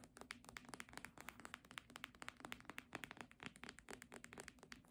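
A red embossed hardcover book is held upright while long nails tap rapidly on its cover. The result is a quick, uneven run of short, dry, clicky taps with bright tops that die away almost at once, over a quiet background.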